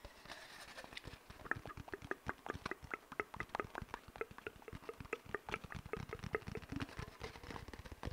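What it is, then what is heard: Cardboard paper towel tube. An empty, hollow brown cardboard paper towel tube, held horizontally over the microphone, is scratched and rubbed with fingertips and short nails. Dozens of quick, dry scratching taps sound in an irregular patter with a hollow, resonant tone and soft rubbing between them. The sound is quiet and close.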